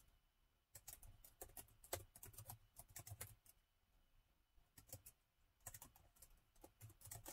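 Fingertips of both hands tap the keys of a plastic laptop keyboard set in a gold metal chassis. Quiet, quick, short clicks come in bursts, each with a soft low thump and a bright tick. The typing pauses briefly midway before starting again.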